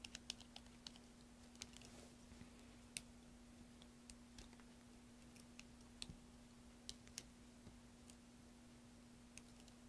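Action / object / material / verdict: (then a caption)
scrape / bar of soap carved with a metal-tipped tool / soap / none. A pen-like carving tool with a metal tip scrapes and chips at a solid green soap block held in one hand, making many small, sharp, bright clicks scattered over soft scraping. A steady low hum runs underneath throughout, and the overall level is quiet.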